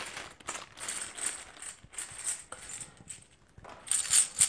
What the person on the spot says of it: ça sonne très cheap quand même